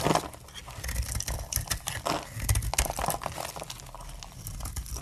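A solid, translucent brown glycerin soap bar with embossed lettering is held in the hand and shaved with the metal blade of a utility knife, and the flakes fall onto a table. There are dense, crackly scraping and cutting sounds with crisp, bright crinkling transients over a low rumble.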